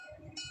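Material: Metal.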